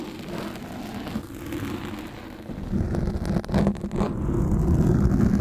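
Steel fork tines scrape across the top and sides of a black foam microphone windscreen dome held in both hands. The result is a dense, muffled scratching and rubbing heard as deep, low rumble with little high end. It grows louder and rougher over the second half.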